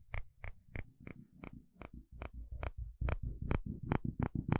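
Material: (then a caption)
Plastic. A wooden spatula scrapes across the fine teeth of a dark blue plastic comb in a series of short, crisp rasping strokes, each a brief bright burst, at an uneven pace of roughly two per second. A low, soft rumble runs underneath throughout and grows slightly louder toward the end.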